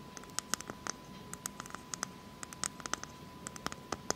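Long fake nails tap and scratch a whole, hollow, brown hairy coconut shell held in the hands. The result is a quick, uneven series of sharp, bright clicks and scratchy ticks that stop dead with no ring. Underneath is a quiet steady hiss and a faint constant tone.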